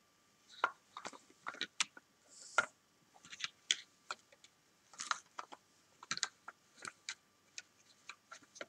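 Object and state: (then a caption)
Plastic toy building blocks. Several large hollow plastic toy building bricks on a sofa are stacked and pressed together with long painted fingernails and fingertips. About twenty short, dry clicks and knocks come at an irregular pace, bright and crisp with almost no low end. A faint steady tone hums underneath.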